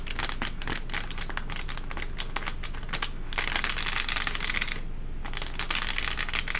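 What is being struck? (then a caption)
Textured paper liner in a cardboard box. The tips of long acrylic nails tap steadily on a wavy textured white paper liner inside a cardboard box. The tapping makes quick, crisp, bright clicks, first as separate taps and then as denser crackly bursts. A short pause comes around the five-second mark.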